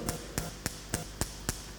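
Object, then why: Two pens. Two pens are tapped against each other six times, each producing a short, sharp click with a bright top and a quick decay. The taps fall at a steady pace over a faint low background hum.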